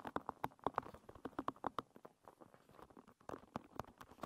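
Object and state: Wooden pin bristle hairbrush.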